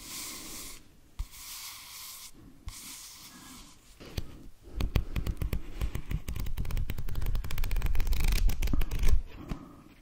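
Fingernails scratch and tap a paperback book held in both hands, its back cover with a barcode showing. Soft, hissy scratching strokes with short pauses give way after about four seconds to a dense run of quick, dull, low taps on the cover and spine that grows louder before fading at the end.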